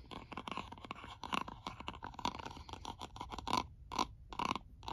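Fingertips and then a white stylus tip trace and scratch across the top of a white plastic cosmetic jar lid on a full jar held in hand. The result is a rapid series of short, dry scratching and tapping bursts with a tonal ring near 960 Hz and bright, hissy edges. Brief pauses separate the last few strokes.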